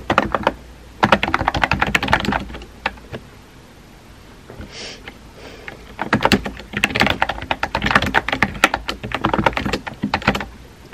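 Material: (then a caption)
Plastic. Fingertips with painted nails rapidly tap the round white-and-pink typewriter-style keycaps of a compact pink plastic mechanical keyboard with a hollow body, resting on a desk. Bursts of sharp, clacky key clicks with a hollow tone and almost no ring fill the first three seconds. After a quiet pause with a faint soft swish, fast typing resumes and continues to the end.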